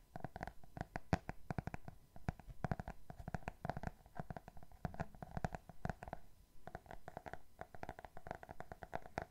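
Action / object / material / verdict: tap / hardcover book with glossy cardboard cover / cardboard / none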